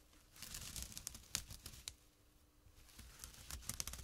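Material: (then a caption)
Jute. Short fingernails and fingertips scratch a small, flat, empty jute burlap drawstring pouch lying on dark cloth. The result is quiet, dry, bright rasping and crinkly scratches in uneven bursts, with a softer lull in the middle.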